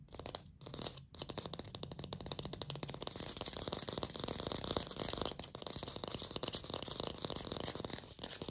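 Long pink fingernails fast-tap a glossy red artificial apple with a stem, apparently hollow plastic, producing a dense, continuous stream of crisp, clicky taps with a bright edge and a light hollow thump underneath. The tapping pauses briefly twice near the start, then runs steadily to the end.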